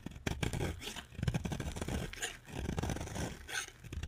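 A utility knife scrapes and carves flakes off a solid pink bar of dry soap. The result is a steady run of dense, gritty scraping with a low, rough texture and occasional brighter crackly bursts as pieces shave away.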